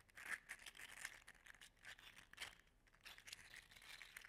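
An orange-gold, segmented, 3D printed PLA articulated slug toy is held in one hand, bent and shaken so its loose segments rattle. The result is a quiet, steady stream of dry, bright plastic clicks and crinkly rattling with almost no low end and very short decays.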